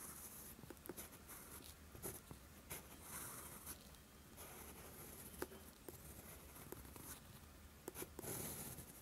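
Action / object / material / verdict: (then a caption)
scrape / steel pen nib on lined paper / paper / none. A steel fountain pen nib is dragged in writing strokes across a flat sheet of lined writing paper, leaving green ink. Soft, continuous scratchy friction is heard, with brief bright ticks where the nib catches or lifts between strokes, over a quiet low background.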